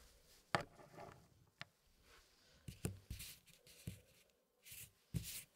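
Gloved fingertips rub and slide solid wood pieces inside a small square wooden packing puzzle tray with a hardwood frame. Quiet scraping and sliding are punctuated by soft, short wooden knocks with little ring, plus brief bright hissy swishes.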